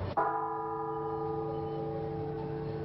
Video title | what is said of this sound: El Foco Catedral Metropolitana | hay como un ahogamiento del mismo sonido